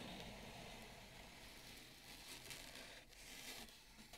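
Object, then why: Bamboo serving plate. Long nails slowly rub and scratch along the rim of a wide, shallow bamboo serving plate. A quiet, steady, bright scratchy rasp carries through with slight swells and no clear gaps.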